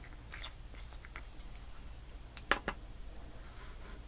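Long painted nails tap and scratch across loose black, silver, yellow and purple glitter on a flat, solid white foam board. Soft, faint scratching and light ticks sit over a steady low hum, then a short cluster of sharper, brighter taps stands out about halfway through before fading back to quiet scratching.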